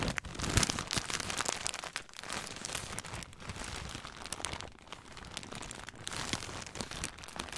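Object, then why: Thin plastic bag with small packages inside. A thin clear plastic bag holding white packages is crinkled and squeezed with the fingertips close to the microphone. The result is a dense, continuous, bright crackling and rustling with many quick sharp crinkles, loudest in the first second, then settling into steady, softer crinkling.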